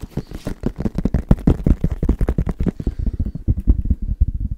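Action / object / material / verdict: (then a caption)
tap / plastic padel ball tube / plastic / none. Fingertips tap rapidly on the side of a tall, hollow, cylindrical plastic padel ball can held upright in one hand. The result is a fast, steady run of dull, low, hollow thuds with almost no ring. A faint brighter tick on each tap fades out after about three seconds.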